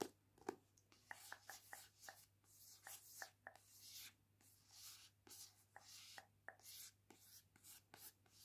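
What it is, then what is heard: Paperback book with glossy card cover. Long nails scratch and trace over the glossy card front cover of a paperback novel held upright, a solid block of paper. Quiet, bright, raspy strokes alternate with short crisp taps, over a faint steady low hum.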